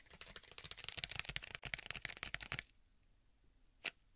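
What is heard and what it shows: Fingertips tap and scratch the surface of a flat black stitched leather tablet/folio case with a strap closure, held upright behind a binaural microphone. A dense run of quick, bright, dry clicking taps and scratches lasts about two and a half seconds, then falls quiet before one last crisp tap near the end.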